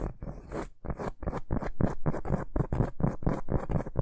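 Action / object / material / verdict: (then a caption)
scrape / round cork board / cork / none. A large, solid, round flat cork board or trivet is held upright in both hands and scratched with short fingernails and fingertips. Quick, uneven scratching strokes come about twice a second, each a dry rasp with a low, muffled body and a thin high hiss.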